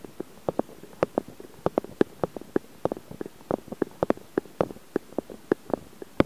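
Fingertips and short nails of both hands rub and scratch directly on the two small X/Y microphone capsules with metal mesh grilles on a Zoom H4n recorder. The result is 26 short, dry scratchy ticks at an uneven pace, with a midrange body and no ring, over a low steady hiss.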